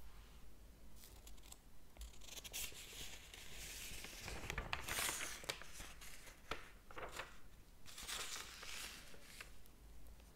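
Fingers rub the paper pages of a large open hardcover book and flip one over. Soft, bright rustling and crinkling rises and falls, with the loudest swish of the turning page near the middle, over a low steady hum.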